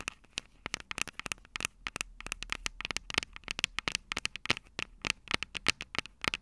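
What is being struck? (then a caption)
Metal microphone capsules of a handheld recorder tapped with fingernails. Long purple nails tap and scratch the metal microphone capsules of an upright Tascam DR-05 recorder. The result is a rapid, irregular series of sharp, dry clicks and crackles that are bright and high with almost no low end, each dying away instantly.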